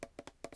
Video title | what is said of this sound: ASMR * Theme: Daiso Haul * Soft Spoken * Tapping & Scratching * Fast Tapping * ASMRVilla | sounds really hard plastic. Makes a really high pitched sound.